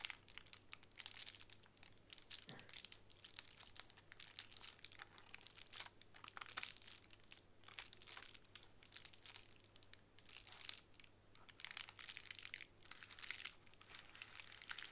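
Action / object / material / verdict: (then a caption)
scrape / plastic bubble wrap sheet / plastic / none. Long nails tap and scratch across a small, clear plastic bubble wrap square resting on a wooden table. The result is a quiet, continuous stream of bright, dry crinkles and crisp ticks, with a faint steady low hum underneath.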